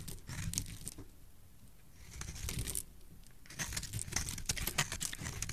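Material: Soap.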